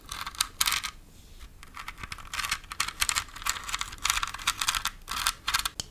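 Long nails tap and scratch the textured surface of a large red glitter-covered pumpkin decoration, whose body may be hollow foam or plastic. The result is a rapid run of dry, bright scratchy bursts and crisp ticks with no ring. Quieter pauses between the bursts carry faint rustling.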